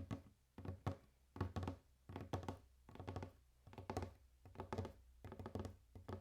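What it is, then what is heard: Wooden table being tapped. A wooden table is tapped in irregular bursts, giving dull, low thunks and knocks with a short, quickly fading ring.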